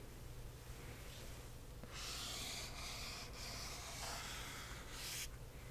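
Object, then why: Cardboard box. A single fingernail and fingertips rub and scratch across a hollow cardboard box printed with "Accio!", with some tapping along its lower edge. A faint, soft rub for about two seconds gives way to steady, bright, hissing scratches that continue until near the end.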